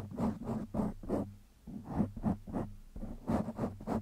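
Fingertips of one hand scratch a black foam windscreen on a microphone, making soft, rapid, irregular rasping bursts with a low, muffled rumble. The scratching stops briefly partway through, then resumes.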